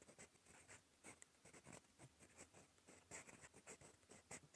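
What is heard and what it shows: A gold metal fountain pen nib writes on cream lined notebook paper, making soft, bright scratching strokes in quick irregular bursts. The quiet scratches carry a hiss that reaches high, with little low end.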